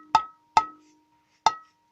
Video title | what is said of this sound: Audio hobbiest ideas | it rings like crazy and uh which can't be good